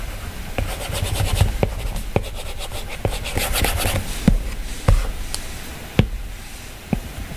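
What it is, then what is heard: Stylus drawing and tapping on a glass tablet screen. A plastic-tipped stylus scratches and rubs in soft, brushy strokes across a glass iPad touchscreen while drawing. It then taps on the color picker, giving short, sharp clicks that stand out above a low, quiet rumble.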